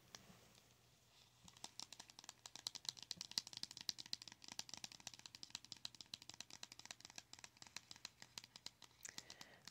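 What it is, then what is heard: Cardboard makeup palette. Long acrylic nails tap rapidly on a small, flat, printed cardboard blush palette that is closed. After a quiet start, a long run of quick, light, clicky taps follows, bright and dry with almost no ring, over a faint low hum.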